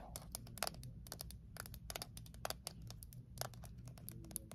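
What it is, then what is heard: Metal mint tin. Long nails rapidly tap and scratch the lid and sides of a small, closed, hollow Altoids mint tin made of thin metal. Quick, sharp, bright clicks come in an uneven, fast stream, mixed with light scratching over a soft low background hum.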